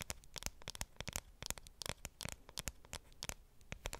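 Long nails tap and scratch the aluminum back of a dark grey iPhone 7 Plus, held back-facing and close to the microphone. About twenty quick, dry clicks mix with bright, scratchy, crackling friction. Each tap stops instantly with no ring, at a quiet level.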